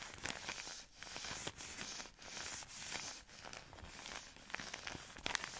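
Long nails scratch and crinkle the soft plastic-film wrapper of a plastic-wrapped product pack, close up. The crackly, bright crinkling comes in bursts separated by brief dips, with almost no low end and very short, dry decay.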